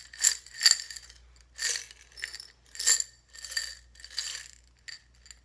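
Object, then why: Small glass jar partly filled with buttons. A small clear glass jar partly filled with buttons is held sideways in both hands and shaken, so the buttons clink against the glass. The result is a series of short, bright rattling bursts with quick, high clinks and almost no low end, separated by brief pauses.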